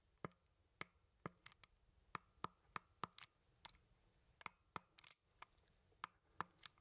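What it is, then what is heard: Plastic game controller buttons. A hollow plastic Nintendo Joy-Con game controller, with the Joy-Cons attached to a grip and held close, has its buttons clicked with a fingertip. Eighteen short, dry, bright plastic clicks come at an irregular pace, centred around 1.2 kHz. Each stops almost instantly, against a quiet background.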